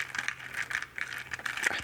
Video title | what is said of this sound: ASMR Story Time (With Triggers) | I put some wooden beads in there, which sounds pretty cool